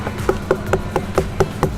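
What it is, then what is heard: Ripe watermelon. A whole, uncut watermelon is knocked seven times in a steady rhythm to judge its ripeness, giving short, hollow, drum-like thumps with a low tone around 380 Hz that die away almost at once. The hollow sound marks it as a good, ripe watermelon.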